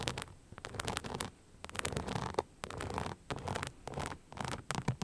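Long nails scratch an empty beige rhinestone-covered sneaker with a translucent rubber sole, held in the hand. Short bursts of dry, gritty scratching and faint clicks reach from low rumble up into bright highs. Brief quiet pauses separate the bursts.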